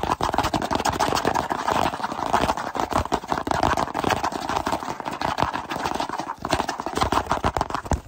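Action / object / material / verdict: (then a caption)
tap / small cardboard box / cardboard / none. Fingertips tap and rub quickly on the sides of a small, hollow kraft cardboard box with a drawing on it, held close in both hands. A dense, steady stream of dry, hollow clicks and scratchy rubbing sits mostly in the mid range around 1 kHz, with short, quickly fading taps.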